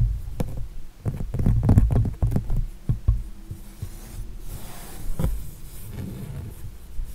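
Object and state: Acrylic-painted canvas.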